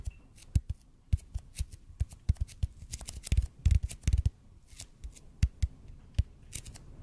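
Fingertips tap quickly on a large hollow red-and-white EPP bead foam roller held horizontally in front of the microphone. The result is a rapid, irregular run of short, dull, low thumps, some carrying a faint bright tick, with almost no ring after each tap.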